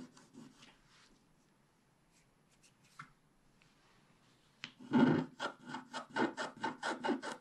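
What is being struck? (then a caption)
Scratch-art card with wax coating, scraped by a wooden stylus. A wooden stylus scrapes the black wax coating off a flat scratch-art card with a colored base, revealing the blue sky underneath. Faint, sparse scratches give way after about four and a half seconds to louder, rhythmic back-and-forth scraping strokes with a dry, raspy texture.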